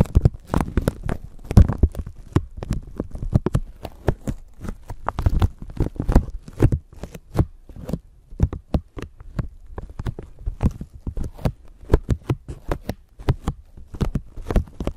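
A thin clear plastic bag stretched over a microphone is scratched and crinkled with long nails, producing a dense run of quick crackling and rustling bursts. Deep low thumps from handling of the microphone underneath dominate the sound, with sharp bright crinkles flickering on top throughout.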